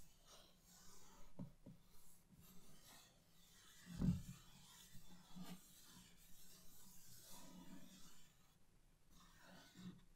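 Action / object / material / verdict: scrape / printed cardboard box / cardboard / none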